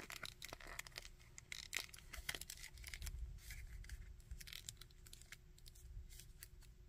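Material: Plastic.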